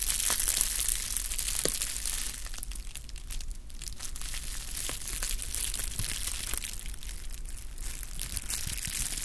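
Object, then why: Plastic bubble wrap. Rolled clear plastic bubble wrap is squeezed and crushed with fingertips close to the microphone. It gives a steady, dense crinkling and crackling, with bright, sharp snaps scattered throughout over a low background rumble.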